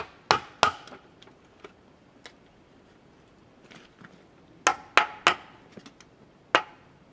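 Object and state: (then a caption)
Cedar log being chiselled. A wooden mallet drives a chisel into the cut face of a large solid cedar log resting on a wooden sawhorse. Sharp, dry wooden knocks come in irregular bursts, with a few fainter taps between them. Each knock is bright and mid-pitched and dies away almost at once.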